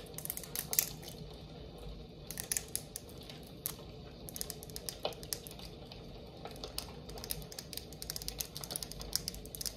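A red glass jar candle, full of wax, is held in both hands and tapped with long acrylic nails on the glass and the lid. Quick, bright, clicky taps come in irregular bursts over a soft, steady low background, each tick dying away almost instantly.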